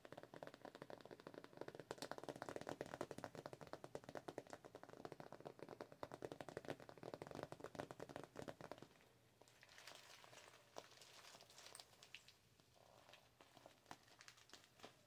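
A glossy, hollow holographic PVC zip cosmetic pouch is tapped and scratched with the long pointed nails of both hands. For about nine seconds there is a dense, fast run of crisp clicking taps, then a softer stretch of scratchy rustling with a few bright, sharp taps.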